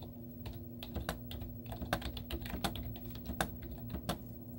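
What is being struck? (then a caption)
Plastic laptop keyboard. Long teal-painted nails and fingertips type rapid taps on a white plastic laptop keyboard with cartoon stickers on its hollow keys. Quick, dry, hollow clicks with a bright edge patter unevenly over a steady low hum, each tap dying away almost instantly.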